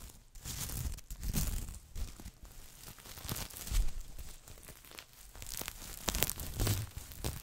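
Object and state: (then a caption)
Sequin fabric Christmas stocking. Fingertips and nails scratch and rub across a red sequin Christmas stocking with a plush cuff, soft and hollow, close to the mic. Dry, crinkly scraping comes in uneven swells, with a low, soft thump under bright, brittle sequin clicks.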